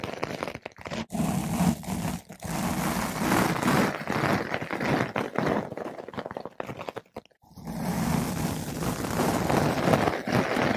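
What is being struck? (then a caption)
Foam microphone windscreen. A flat paintbrush with blue synthetic bristles brushes a large, soft, porous yellow-pink foam ball windscreen fitted over a microphone. It makes a close, dense, crunchy scratching rustle with a heavy low-mid body. Short gaps break the strokes, with a clear pause about two-thirds through before the brushing resumes.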